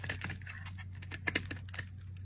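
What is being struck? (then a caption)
Bar of soap scraped with a metal blade. A metal blade cuts and scrapes pieces off the side of a palm-sized, solid, translucent red bar of dry striped soap held in one hand. The result is a string of short, crisp, bright scraping clicks and flicks with almost no ring, over a steady low hum.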